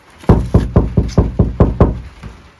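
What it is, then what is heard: Undamped van roof panel, resonant. Knocks on the inside of a Toyota HiAce van's bare sheet-metal roof panel, before any deadening material is added. Nine hollow, low, plastic-like knocks land in quick succession, each with a short resonant ring. The undamped panel sounds resonant.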